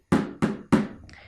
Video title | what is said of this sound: Arte - 2.º e 3.º ano - aula 09 - 16/06 | aqui a gente tem um exemplo de som grave